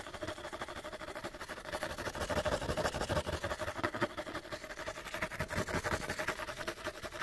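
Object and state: Empty cardboard light bulb box.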